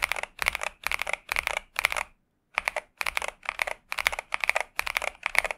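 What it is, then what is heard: Mechanical keyboard with plastic keycaps. Steady fingertip typing with both hands on a pink 65% Xinmeng M71 mechanical keyboard with TTC Superman switches and plastic keycaps. Quick bursts of bright, crisp clacks centered near 2 kHz have very little low end. The bursts repeat evenly, with a brief pause just after the two-second mark.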